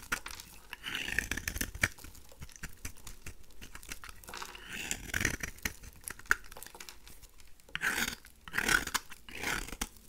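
A pink rectangular "Весна" dry bar soap, held in the hand, is shaved with a craft knife blade into crumbly flakes. Many short, dry scraping and crumbling strokes are heard, with bright crackly texture and quick, non-ringing transients. Brief, louder bursts of scraping stand out among softer continuous shaving.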